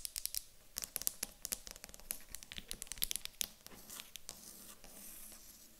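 A small light-coloured solid wooden cube, first held in the hands and then set on a table, is tapped and scratched with long acrylic nails. The result is a quiet, rapid run of sharp, bright clicks and dry scratching with almost no ring, easing into a softer steady scratch toward the end.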